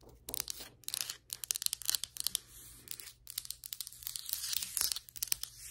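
Long white acrylic nails scratch and tap across solid ceramic floor tiles and their grout lines. The result is a quiet, rapid run of sharp, bright clicks mixed with dry, crinkly scraping, with almost no low end and no ring after each tap.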